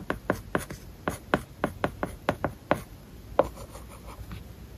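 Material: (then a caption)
Plastic film. A stylus tip writes small handwriting strokes on an iPad glass screen covered with a matte, paper-like plastic film. About fourteen short, dry scratching taps come in quick bursts with almost no ring, then fade into softer, fainter strokes toward the end.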